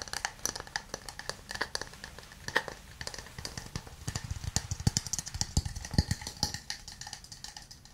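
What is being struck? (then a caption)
Small wooden cup. A hand-sized, hollow, empty wooden cup with an open rim is tapped rapidly with fingernails and then fingertips. The taps give a resonant wood-block sound: bright, clicky nail strikes with a low hollow thump, each dying away almost at once. The tapping continues as a steady, irregular patter throughout.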